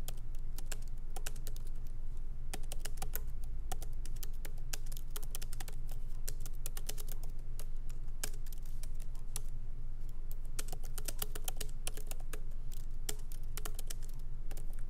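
Both hands type with their fingertips on a MacBook Pro laptop resting on a wooden desk, its plastic keycaps set in an aluminum body. Light, irregular clicking taps with bright, short transients run continuously over a steady low hum.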